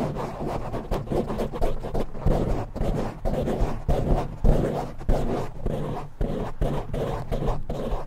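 Fingertips and short nails of both hands rapidly scratch a palm-sized, soft, porous black foam windscreen covering a silver condenser microphone. The result is a dense, muffled scratching and rustling that is mostly low and boomy, with quick repeated strokes rising and falling in a steady rhythm.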